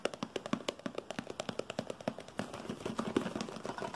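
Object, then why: Small paperboard box. A small, hollow, white printed paperboard product box labelled for glass products with a handle-with-care warning is held in the hand and tapped quickly with fingertips and nails. Rapid, dry, hollow taps with a low-mid knock and very short decay come in a steady rhythm at first, then crowd together into a denser, busier patter in the second half.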